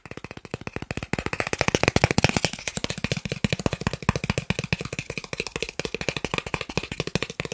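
A thin, solid, credit-card-sized green plastic gift card is held up near the microphone and tapped quickly with fingertips and nails. About fifty short, dry taps fire off in a rapid, steady rattle, each a dull low knock with a bright plastic tick and no ring. The tapping starts softer, grows louder after the first second and stays brisk to the end.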